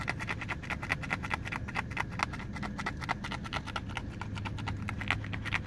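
Fingertips and short nails rapidly tap and scratch the textured rubber and foam sole of a yellow, blue and grey running shoe, working over its side and nubs. The result is a dense, steady stream of dry, bright clicks with almost no ring, over a low, constant rumble.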